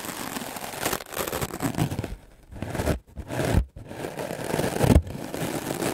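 A solid white melamine foam block is held in the hand and brushed rapidly with a wooden clothes brush with dark bristles. The result is a dense, low-weighted scratchy scraping and rustling that runs almost continuously, with brief pauses between bursts of strokes.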